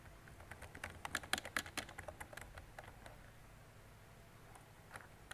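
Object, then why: Plastic mechanical keyboard. Fingertips with long decorated nails type on a mint-green retro mechanical keyboard with round plastic keycaps and a hollow body. About twenty short, bright plastic clacks come in an uneven burst that is densest in the first half. They fade to near silence, with a final isolated click near the end.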